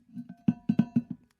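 An insulated metal cup is tapped, giving short, dull knocks around 220 Hz with a faint metallic ring above them. Several light taps lead into four strong, evenly spaced hits, and the abnormal ring of the cup makes it sound not normal.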